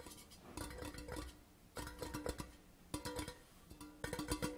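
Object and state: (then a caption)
Metal tube tin being tapped. Nails and fingertips of both hands tap and scratch along the side of a hollow grey Port Charlotte metal whisky tin tube lying on a cloth. Bursts of quick, clicky tapping with a tinny, pitched ring around 300 Hz come in four groups separated by quieter scratching.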